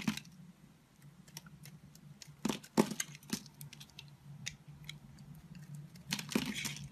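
A solid blue Palmolive soap bar held in a palm is carved and scraped with a red-handled utility knife blade, sending flakes falling. Soft, crisp scraping and clicky cuts come in scattered bursts over a low, steady hum. The loudest strokes land near 2.5, 2.8 and 6.2 seconds.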